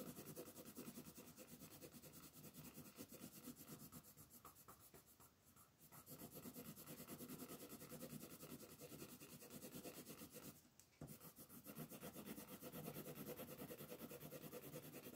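An orange colored pencil rubs across a paper coloring book page lying flat, shading the shell in broad strokes. The result is a steady, dry, scratchy rasp of rapid back-and-forth strokes. It breaks briefly around 5.5 and 11 seconds, then resumes.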